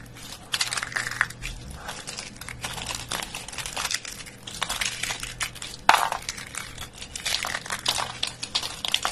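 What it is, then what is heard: Dry soap flakes. A bare hand grabs, squeezes and crumbles handfuls of brittle dry soap flakes from a pile already crushed into smaller crumbs. The result is dense, bright crackling and crunching in overlapping bursts, with a sharper crunch about two-thirds of the way through.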